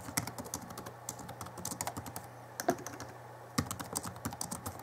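Fingertips of both hands type on the backlit plastic keys of a small Alienware M11x R2 (2011) laptop keyboard. Quick, irregular clicky taps with bright high tops run over a steady low hum. A couple of heavier key strikes stand out partway through.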